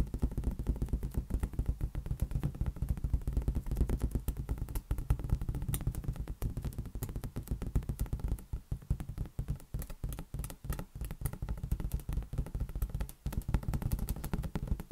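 A large, hollow, air-filled green latex rubber balloon is tapped rapidly and continuously with the fingertips. This produces a dense stream of short, dull, low thumps that die away almost instantly. The sound sits mostly in the deep low end with a faint papery rustle on top, and a few brief pauses break up the tapping.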